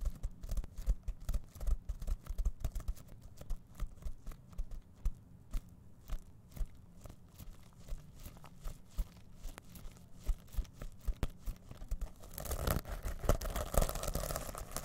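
Fingertips scratch and brush the plastic sequins on a small reversible fabric pouch held up in both hands, making a steady run of quick, dry scratchy clicks and crinkles. In the last few seconds the brushing turns into a louder, denser, brighter rustle.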